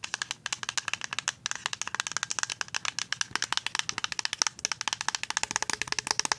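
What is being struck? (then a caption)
Plastic liquid soap pump bottle. A full white plastic liquid soap pump bottle is tapped and scratched with paper-clip nails and fingertips. About fifty quick, dry, bright clicks come in a fast, uneven stream with a faint scratchy hiss between them. Each tap stops almost instantly, with no ring and almost no low end.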